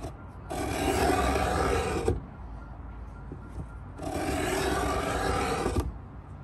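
A metal Stanley 66 scraper is drawn in two-handed strokes along the lid edge of a pine wooden box. Two long, dry rasping scrapes of about one and a half seconds each are separated by a quiet pause, their bright hiss ending with a small knock. Faint outdoor background noise continues underneath.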